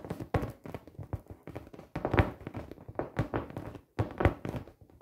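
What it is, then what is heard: Inflated vinyl beach ball. Long painted nails tap on the taut vinyl surface of a large, inflated, hollow 48-inch clear PVC beach ball with colored dots. The taps come in quick, irregular clusters, giving soft, dull, low-pitched thunks that die away almost instantly.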